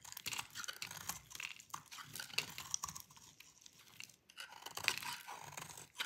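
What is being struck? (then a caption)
Bar of soap shaved with a blade. A metal utility blade held in the fingers shaves a solid oval bar of dry cream-white soap, with crumbly shavings piling below. A dense run of crisp, dry scraping and crunching cuts follows, bright and hissy with almost no low end. Each stroke dies away instantly, with a brief quiet dip near the middle.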